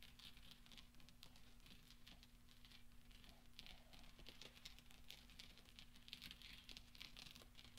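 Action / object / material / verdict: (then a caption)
scrape / small steel balls / steel / none. Fingertips and long painted nails, with rings on the fingers, sweep and roll small solid steel pachinko balls spread across black velvet. The result is a dense, continuous patter of quiet, bright metallic clinks and ticks over a low steady hum.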